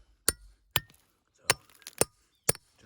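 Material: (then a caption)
Steel, stone. A hammer taps in turn on the steel feathers and wedges driven into a rock, with a cold chisel tapped between them to widen the crack, giving a series of sharp, bright metallic taps with very short ring. The changing tap sound signals that the rock is close to splitting.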